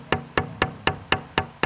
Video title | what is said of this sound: 부도 나서 진짜 문 닫기 직전의 한국 악기 회사｜절체절명의 위기에 해외 진출 노렸더니 80% 수출 대박｜전설이 된 한국 악기 회사｜극한직업｜#골라듄다큐 | 덜 마른 나무는 둔탁한 소리가 나다